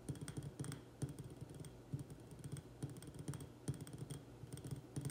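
Fingertips and nails tap fast on the sides of a small white glazed ceramic urn-shaped pot filled with soil and an echeveria succulent, with both hands wrapped around it. The result is a dense, rapid patter of dull, low taps that die away almost instantly, with faint bright clicks from the nails and a few louder accents.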